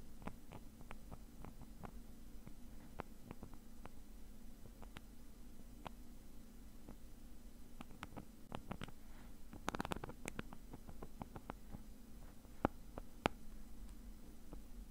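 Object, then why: Nylon mesh zip bag. Fingernails scratch and rub the fabric of a small, hollow black nylon mesh zip bag while the other hand holds it steady. The result is a quiet run of short, dry scratches and ticks, denser near the middle and end, over a steady low hum.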